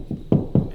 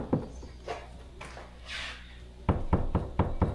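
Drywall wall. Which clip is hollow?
The first.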